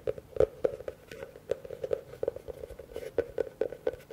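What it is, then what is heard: Plastic bowl. Fingertips and nails tap and scratch the outer surface of a large, empty blue plastic bowl with its rim facing the microphones. A steady run of quick, hollow taps sounds near a 530 Hz tone and dies away almost instantly. Soft scratching fills the gaps between the taps.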